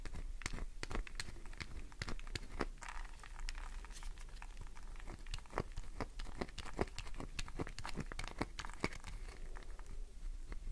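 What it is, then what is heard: Glycerin soap bar being scratched. Fingernails scratch deep grooves into a solid green glycerin soap bar held in the hand, leaving shavings scattered around it. A rapid, steady stream of short, crisp scratching and crackling ticks plays over a faint low hum.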